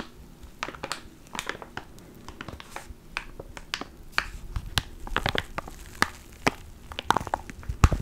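A small clear plastic ziploc bag holding a black foam mic cover is crinkled and pinched with the fingertips of both hands. Sharp, irregular crackles and snaps run through the whole clip, each brief and bright, over a soft low handling rumble.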